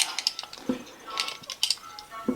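The front steel connecting rod and bearing in a 2009 Subaru Forester engine is worked by hand and gives off sharp, high-pitched metallic clinks and taps from the loose, bad bearing. The clicks are short, bright, and scattered irregularly. The play points to a crankshaft that is toast and is the source of the engine knock.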